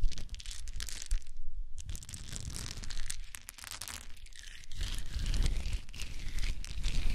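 Hands grab and drop handfuls from a pile of small wooden cube chips, rustling them. A dense, continuous clatter and crunchy rustle of many small pieces shifts against one another, with a low rumble underneath that swells louder toward the end.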